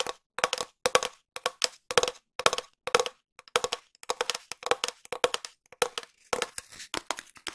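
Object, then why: Cardboard tube. A long, empty, hollow cardboard tube is tapped with long nails and fingertips in quick bursts. Each short, dry, crackly tap carries a hollow resonant tone around 490 Hz with bright clicky edges. The clusters repeat steadily with brief pauses between them.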